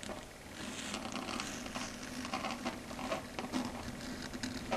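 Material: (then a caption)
Slate. Long red stiletto nail tips tap and patter on a flat, solid dark grey chalkboard surface. The taps come as a quick, uneven run of light clicks with a bright, crackly edge over a soft, steady hiss.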